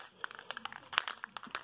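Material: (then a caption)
Metal. An old but unused metal spray paint can, warmed with a heat gun, is shaken hard so its mixing ball rattles inside. Eleven quick, sharp, bright clicks of the ball striking the can come in an uneven rhythm. The rattle shows the paint is loose and being mixed.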